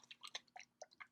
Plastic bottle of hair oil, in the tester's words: If I shake this one, you can hear it